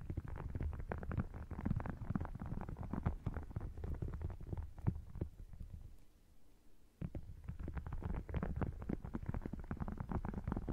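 Fingernails scratch and tap both halves of an open red faux crocodile leather wallet with a croc-textured surface. The result is a dense, low, muffled rustle of rapid scratches and taps, which quiets briefly about two-thirds of the way through before resuming just as busily.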